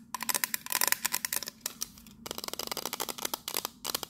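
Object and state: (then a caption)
Metal biscuit tin tapped with nails. Long nails rapidly tap the teal lid of a tall pink printed metal biscuit tin, then move to tapping its side. The result is a fast run of short, bright, dry clicks with almost no ring, with a brief pause before the second burst of taps.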